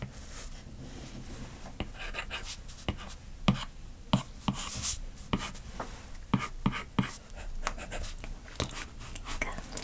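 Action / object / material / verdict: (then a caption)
scrape / plastic stylus tip on glass tablet screen / glass / none. A plastic stylus tip draws short repeated strokes and hatching across the glass screen of a large iPad lying flat. Quiet, uneven taps and scratchy strokes follow one another at a steady pace, with sharp clicks and brief bright swishes. Each sound stops almost immediately, with no ring.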